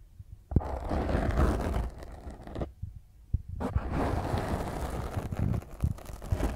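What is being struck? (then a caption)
Foam microphone windscreen. Long fingernails scratch and tap on a black foam microphone windscreen, producing a dense, rough, bass-heavy rumbling scrape with soft thumps. The scratching drops to a near-silent pause midway before resuming just as intensely until the end.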